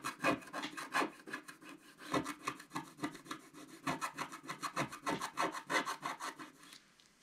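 A wooden stylus scratches across the coated surface of a flat scratch-art paper card in rapid, somewhat irregular strokes, roughly three per second. Each stroke is a dry, raspy scrape with a bright hiss and little low end. The scratching continues steadily for nearly seven seconds, then stops, leaving faint quiet.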